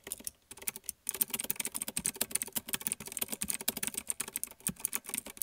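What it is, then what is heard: Plastic mechanical keyboard typing. Fingertips of one hand, then both hands, rapidly type on a small black plastic one-handed mechanical keyboard with blue clicky switches. Sharp, bright, short clicks come in quick succession, with a brief pause around the first second, then a denser, steady clatter.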